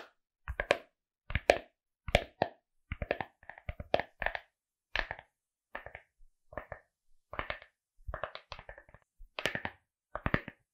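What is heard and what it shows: Long acrylic nails tap and scratch the surface of a small, hollow, rigid glasses case covered in pink fuzzy fabric and decorated with cartoon eyes, held close to the mic. The result is quick clusters of dry, short taps with soft fabric scratching, separated by brief pauses, with a hollow midrange body and bright edges.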